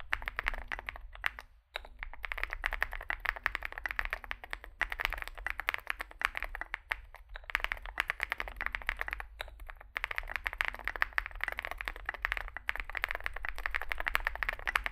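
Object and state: Mechanical keyboard with plastic keycaps.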